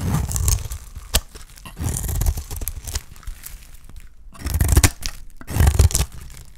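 A small metal blade shaves strips from a solid, hand-sized, dark purple dry soap bar. Bursts of dry, crunchy scraping and crumbly cutting are heard, with a few sharp clicks and brief quiet gaps between strokes.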